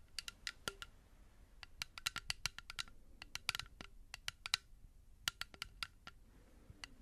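Long nails tap a small blue-tinted plastic bottle that is partly filled with liquid. The result is an irregular run of sharp, quick clicks, each bright and crisp with almost no ring, over a faint low background hiss.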